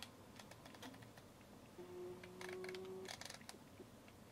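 A fingertip and nail tap and turn the ridged, rubber-textured plastic focus ring on a Centon K100 SLR zoom lens, making quiet, irregular dry ticks and clicks. A faint steady tone runs underneath in the middle of the clip.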